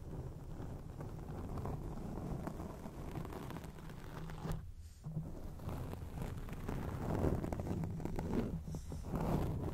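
Long acrylic rainbow nails on both hands scratch a rounded, soft grey foam windscreen over a studio microphone. The result is a continuous, dense, low rumbling scratch and rustle, with a brief dip near the middle before the scratching resumes slightly louder.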